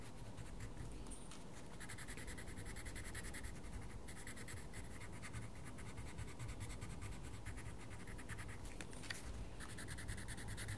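A wooden coloured pencil scratches short strokes across a mandala page in a small paper colouring book while the fingertips of the other hand hold the page. The result is a quiet, steady, dry scratching texture with bright bursts of stroke noise over a low, constant rumble.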